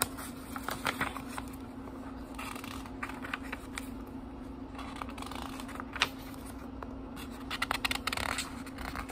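Fingertips flip through the paper pages of a small book held partly lifted off a table. Soft rustling and crisp, bright paper flicks come in uneven bursts, with a sharper snap near the six-second mark and a busier flurry toward the end, all over a faint steady low hum.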